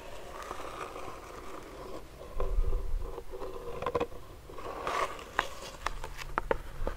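A medium clear plastic hand sanitizer pump bottle filled with clear gel is tapped and scratched with fingernails and fingertips. Soft scraping alternates with sharp, dry clicks that die away almost at once, over a low, muffled rumble and a faint tone near 1 kHz.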